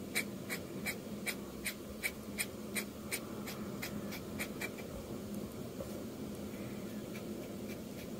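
A metal dip-pen nib in a blue holder, held in the fingers, scratches quick, rough ink strokes across a flat sheet of drawing paper with a pencil sketch, a manga manuscript page lying on a desk. About eleven short, bright, scratchy strokes come at a fairly quick but uneven pace in the first five seconds. They then fade into softer, continuous scraping over a steady low background hiss.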